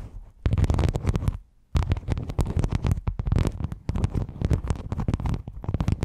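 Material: Metal mesh.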